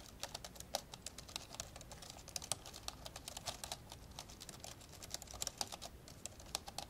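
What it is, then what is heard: Plastic laptop keyboard typing. Fast two-handed fingertip typing on the plastic keys of an old dark grey plastic laptop lying open. A rapid, uneven stream of short, bright plastic taps and clicks dies away almost instantly, with occasional louder keystrokes over a faint low background rumble.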